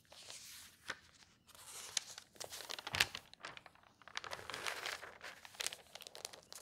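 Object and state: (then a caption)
Newsprint pages rustling. An open tabloid newspaper of thin newsprint lies on a table while hands with long nails turn its pages, lifting a sheet. The paper gives off bright, dry rustling and crinkling in quick bursts, with a few sharper crisp snaps that die away at once.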